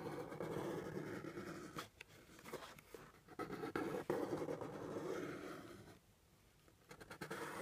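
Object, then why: Cardboard box. Fingernails tap and scratch along the top edge of a hollow brown kraft cardboard box resting on a table. Soft, papery scratching mixes with dull, quick taps at an uneven pace. The sound dips briefly near two seconds and goes nearly quiet around six seconds before the scratching resumes.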